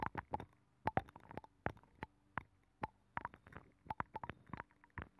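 Long pink fingernails scratch and tap inside a hollow abalone shell with a nacre interior, mounted on a microphone. A quick, irregular run of soft, hollow, close-up taps and brief scratches sounds muffled and slightly resonant, each one dying away almost instantly between quiet gaps.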